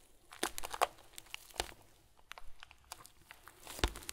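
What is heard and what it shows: Hands squeeze a tied, fist-sized clear plastic bag full of tiny white foam beads, making the beads shift and crinkle. Quiet, bright crinkling rustles come in irregular bursts, with a few sharper crunchy peaks over a soft background.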